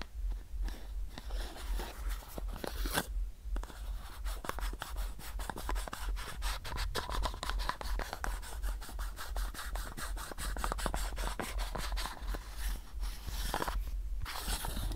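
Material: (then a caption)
Plastic. Fingernails scratch the paper label and body of a hollow white plastic supplement bottle. A dense run of quick, dry scratching strokes continues steadily over a heavy low rumble, with brief lulls near the 3-second mark and again near the end.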